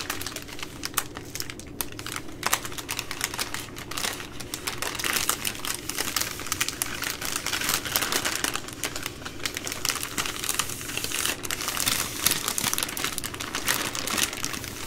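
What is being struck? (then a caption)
Soft plastic-wrapped wipe packs. Long nails tap rapidly on the soft plastic film of a plastic-wrapped baby wipes multipack, a bundle of full wipe packs, while fingertips press into it. A dense, steady stream of bright, crisp clicks and crinkles fills the clip, with quick, short-lived ticks over a faint low rustle.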